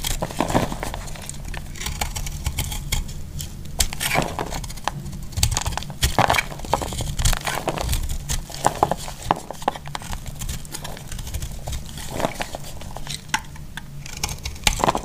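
A metal blade cuts through a solid, dry pink-and-green heart-shaped soap, breaking it into crumbly pieces. Dense crunching and crumbling sounds follow one another with sharp, bright transients over a low rumble. Brief clinks come through now and then.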